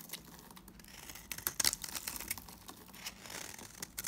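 A solid mauve-brown Timotei bar of dry soap, held in the hand, is shaved with a box cutter blade so flakes curl off. The blade gives a run of crisp, bright scraping and crackling strokes with almost no low end, loudest around the middle of the clip.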